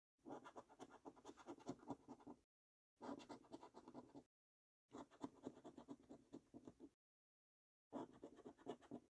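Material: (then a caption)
Paper, latex. A coin edge scratches the latex-coated number panels of a thin, flat paper lottery scratch card lying on a table. Four bursts of quick, dry, rasping scrapes are separated by short silences, with the sound sitting mostly in the low-mid range and very little deep or high content. The scratching is quiet and close, and each stroke stops dead with no ring.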